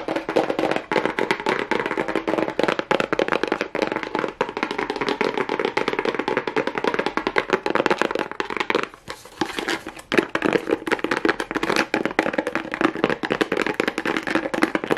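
Long nails rapidly tap and scratch a small hollow printed kraft cardboard box, on both its plain cardboard side and its side with a pink plastic rhinestone strip. The result is a dense, continuous stream of short, dry clicks and rasps, mostly in the low-mid to mid range with a little high hiss, pausing briefly around nine seconds before resuming.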